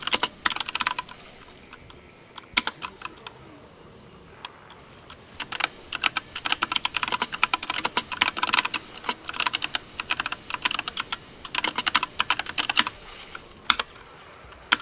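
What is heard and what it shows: Fingertips of both hands type fast on a compact 60% mechanical keyboard with pastel teal and pink plastic keycaps and hollow-sounding switches, set on a dark desk during gaming. Bright, hollow plastic clacks come in rapid bursts, with short pauses near the start and a longer lull around four to five seconds. Each tap is short and dry, with almost no low end.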